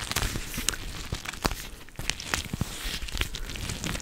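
A teal-rimmed clear plastic cooling pad filled with gel beads is squeezed, scratched and bent with long nails and fingertips right against the mic. The result is a dense run of bright plastic crinkling and crackling, broken by sharp, short clicks and scrapes over a soft low rumble.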